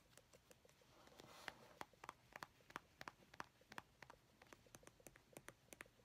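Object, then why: Plastic squeeze tube. A medium, hollow white-and-grey plastic cosmetic squeeze tube is held upright in both hands and tapped with long painted fingernails. About two dozen quick, light clicks come at an uneven pace, each dry and bright with no ring. A soft hiss swells briefly near the one-second mark.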